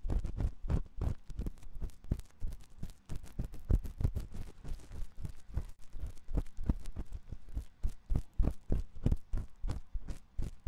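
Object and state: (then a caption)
Silicone microphone ear being scratched. A thin metal ear pick scratches inside the ear canal of a white silicone ear on a 3Dio microphone. It makes a dense, uneven run of short, muffled, low-pitched rasps and thumps, roughly three a second, each dying away almost at once. Soft scraping hiss fills the gaps between strokes, with little bright content.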